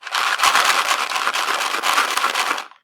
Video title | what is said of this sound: Community Skills: Trip to the Grocery Store | if I shake it it makes noise